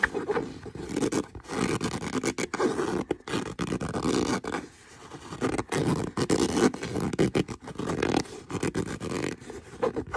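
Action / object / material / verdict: scrape / leather boot / leather / none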